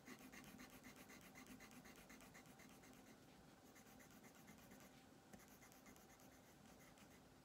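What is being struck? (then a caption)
Colored pencil on thin paper over a wooden table. A colored pencil is rubbed back and forth across a thin paper coloring page on a wooden tabletop to fill in a green armchair, with the hand held steady on the sheet. The result is a quiet, continuous scratchy rasp of rapid, fairly regular strokes with a bright papery edge.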